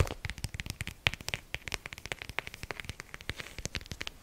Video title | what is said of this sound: ASMR CALM & RELAXING TRIGGERS FOR SLEEP! 😴 | Mon son préféré est celui que fait le côté du livre lorsque je tape dessus.